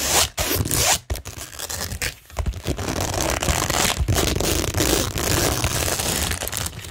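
Long nails scratch rapidly across a framed cork tingle board covered in rhinestone mesh with pearl and gem stickers, the flat, solid surface giving a dense, crackly rasp. Quick, uneven scraping bursts run continuously with broad noise from low to high, briefly dipping into short pauses before steady scratching resumes.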